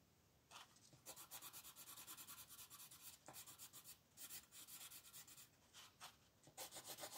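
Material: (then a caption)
Paper. A red wooden colored pencil, gripped close to the tip, scratches across a thin paper coloring book page lying flat on a table in fast shading strokes. Quiet, bright, raspy scratches come in rapid bursts of back-and-forth strokes with brief pauses between them.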